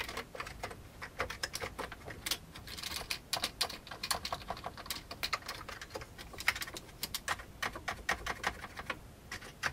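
Fingertips type on a full-size old beige plastic computer keyboard with a hollow plastic case, first with both hands and then with one hand. A steady stream of short, sharp, bright clicks rattles off quickly, each dying away almost instantly, with little low-end thump beneath the plasticky clatter.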